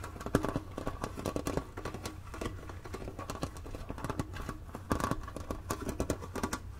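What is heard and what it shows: Long nails tap rapidly on the top edge and printed lid of a flat, hollow blue cardboard Mancala box held tilted. The taps are short, dry and hollow, with a low, boxy body, little brightness and a steady low hum underneath. A few sharper, louder taps stand out near the start and around the five-second mark.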